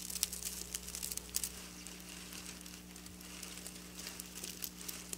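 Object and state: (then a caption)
Plastic sequin fabric scratched with nails. Long, black-polished natural nails scratch and trace across a flat sheet of textured silver plastic sequin fabric lying on a counter. The result is a quiet, dense stream of bright, crinkly scratching and ticking, with sharper clicks in the first second and a half and again near the end, all over a faint steady low hum.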